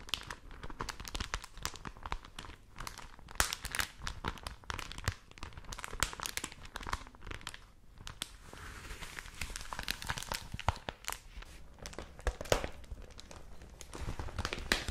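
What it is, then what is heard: Thin newspaper paper being crinkled. A thin printed paper newspaper supplement is flexed, crinkled and opened by hands with long nails. Dense, continuous crinkling and crackling fills the clip, with bright papery rustle and frequent short, sharp crackles that stop almost instantly.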